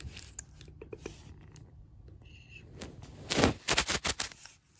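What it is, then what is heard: Wooden floorboards tapped and scratched with fingernails. Long black acrylic nail tips tap and scratch quickly on solid oak-grain wooden floorboards. The result is a fast, irregular run of sharp, bright clicks and dry scrapes over a low background rumble, with a brief high tonal whine midway. The tapping grows louder toward the end before fading.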